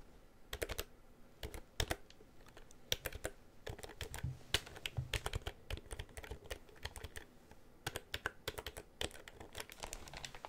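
Fingertips tap and press the keys of a black plastic computer keyboard with a hollow housing, held tilted in front of the microphone. Quick, irregular bursts of short, bright clacks with a hollow low thump beneath them come in clusters and stop dead after each press.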